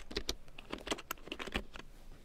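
A black plastic large-print computer keyboard with yellow keycaps is typed on with long nails and fingertips, producing a quick run of sharp, bright clicks and taps over a low thud. Near the end, the keyboard is shifted.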